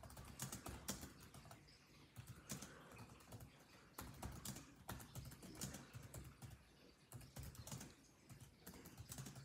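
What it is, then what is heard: Plastic laptop keyboard being typed on. Fingertips of both hands type rapidly on the built-in plastic keyboard of a grey laptop with dark chiclet keys. Quick, soft clicking taps with a low thudding body come in dense bursts, separated by brief pauses.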